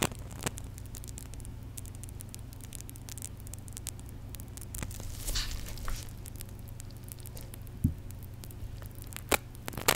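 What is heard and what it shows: A small white plastic contact lens solution bottle with its flip cap open and foam at the nozzle is squeezed and shaken in gloved fingers, sloshing the liquid. Dense, fine crackling of bubbles fizzes over a steady low hum, with a brighter fizzy surge midway and a few sharper pops near the end.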